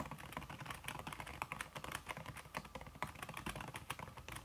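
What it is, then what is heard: Silicone-covered laptop keyboard typing. Fast typing on a solid, backlit aluminium laptop keyboard fitted with a red silicone key cover, the fingertips and long red-painted nails tapping the keys. A dense, continuous patter of short, dull clicks with brief, bright nail ticks on top.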